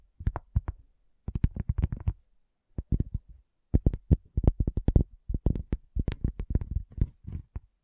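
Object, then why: Cork coaster. A round, flat, solid cork coaster is tapped by long fingernails and fingertips, giving dull, low thuds. The taps come in quick irregular bursts separated by short pauses, each thud dying away almost at once.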